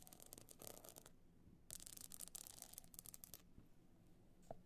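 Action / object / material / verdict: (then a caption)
scrape / rigid box clutch encrusted with small stone chips / stone chips / none. Long nails scratch across the bumpy surface of a rigid, hollow box clutch covered in small stone chips, making bright, gritty rasps. One burst of scratching is followed by a short pause and then a longer, denser run. The clip fades to quiet rubbing and ends with a faint tap.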